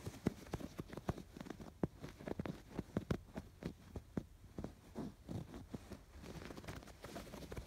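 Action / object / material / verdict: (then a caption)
scrape / embroidered canvas fabric pillow / canvas fabric / none. Fingertips and nails scratch along the raised yarn embroidery of a cream woven-fabric canvas pillow, tracing its curved stitched lines. The result is a quiet, irregular run of short, dry scratches and soft taps, mostly low and muffled, each dying away almost at once.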